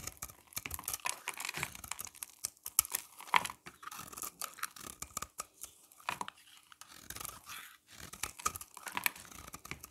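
A utility knife blade scrapes and shaves a hand-held, solid oval bar of dry soap, red outside with a blue layer inside, sending flakes falling off. Quiet, dry, crisp scratching and crackling come in dense bursts with short pauses, bright and hissy with almost no low end.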